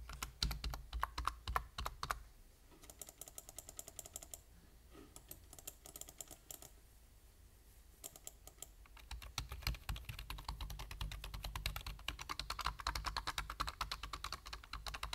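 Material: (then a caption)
Plastic. Fingertips type on a full-size black plastic computer keyboard, giving rapid, short, clicky key taps over a steady low hum. The typing runs in bursts: brisk at first, lighter and sparser through the middle, then dense and steady toward the end.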